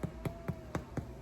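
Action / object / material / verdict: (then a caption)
tap / bread loaf / bread / hollow. A homemade loaf of bread is tapped six times to check whether it is done, each tap a short, dull, low thump that dies away almost at once. The hollow sound shows the loaf is baked through.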